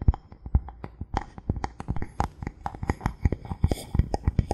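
Fingertips and nails tap and scratch a thin solid bamboo board held in the hands. The result is a rapid, irregular series of short, dry knocks with deep, low thumps, separated by soft scratching that brightens slightly toward the end.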